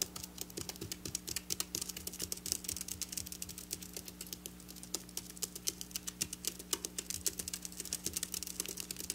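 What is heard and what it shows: Long black nails tap rapidly on flat silver sequin fabric, producing a dense stream of short, bright clicks. Each tick dies away almost instantly over a faint, steady low hum.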